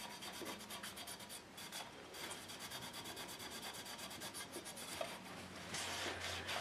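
A hand holding a checked cloth tea towel rubs and wipes across a large, flat pressed-steel transformer cover plate, rigid sheet metal on a frame with two round bushings and white ceramic insulators, lying empty on carpet. The cloth makes a steady, bright, rasping swish in uneven back-and-forth strokes, with a faint metallic tone under the friction noise. The rubbing grows slightly louder and hissier toward the end.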